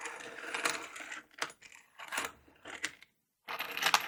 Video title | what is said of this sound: Tapping, scratching and clanking my tools - whispered male ASMR | let's listen to what is in there. Is an assortment of screws.